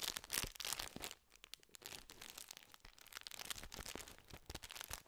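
A full, gold foil-lined plastic tube wrapper holding a stack of biscuits is held upright and scratched and crinkled with fingertips. Bright, crackly crinkling and scratching comes in dense bursts, loudest in the first second, then briefly quieter before settling into steady, uneven rustling to the end.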